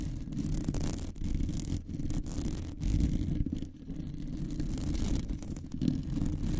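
Long nails on both hands scratch and stroke the rounded, hollow metal mesh grille of a large condenser microphone. The result is a dense, continuous rumbling scrape concentrated in the low end, with brief dips and swells in level as the strokes change.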